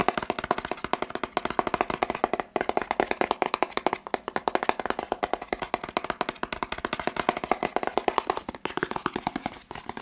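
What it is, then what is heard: Cardboard box, hollow. A hollow, medium-sized white and blue printed cardboard test-kit box, held in one hand, is tapped rapidly with fingertips and nails. The result is a dense, continuous stream of short, dry, hollow mid-range taps with almost no ring, broken by brief pauses around 2.5 and 8.6 seconds.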